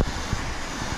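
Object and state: Nothing is struck.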